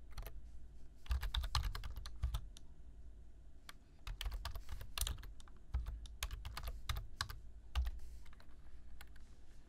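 Fingertips type on the keys of a black plastic computer keyboard, producing an uneven stream of quick, clicky taps over a low, soft thud. The keystrokes come in irregular bursts, some harder and brighter than others, with brief pauses between runs.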